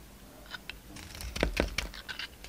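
A utility knife blade carves and scrapes a solid pink soap bar with a red coating, held in the hand. The result is a series of short, crisp scraping and crunching cuts with bright edges. Two louder, fuller strokes land near the middle, over a faint low hum.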